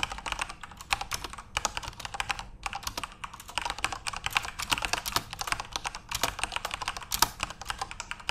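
Continuous fingertip typing on a backlit plastic RGB keyboard produces a fast, steady stream of sharp, bright clicks and clacks with very short decay, brief pauses and a few louder keystrokes.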